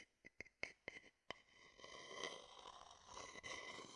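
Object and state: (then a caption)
Wooden bowl tapped and scratched with a stick. An empty, hollow, rounded wooden bowl is held low in one hand while the tip of a thin wooden stick taps and scratches it. A few sharp, bright, quickly fading taps sound over the first second and a half. They are followed by a steady, hissy scraping that continues to the end.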